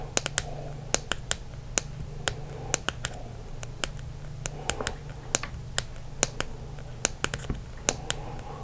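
A green Expo dry erase marker, a small hollow plastic pen held in both hands, is tapped with the fingertips and short nails. About 26 sharp, dry, bright clicks fall in an irregular rhythm, each dying away almost instantly over a steady low hum.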